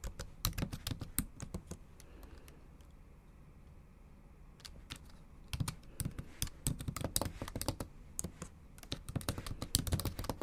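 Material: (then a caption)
Plastic. Long acrylic nail tips and fingertips type on the backlit black plastic keys of a MacBook Pro laptop in a silver aluminium body. Sharp, bright clicks with a low thud come in quick bursts, with a quieter pause in the middle before the typing picks up again and grows denser toward the end.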